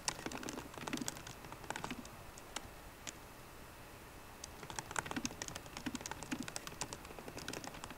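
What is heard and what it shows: Both hands type on a MacBook Pro keyboard with fingertips and long painted nails, tapping plastic keycaps over the hollow aluminium laptop body. Quick, bright clicky taps with a low thud underneath come in fast bursts, ease off to a few scattered taps in the middle, then pick back up into steady typing.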